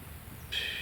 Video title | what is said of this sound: Sortie détection qui pique les yeux avec deux belles surprises | il y a du métal dedans parce que ça sonne bien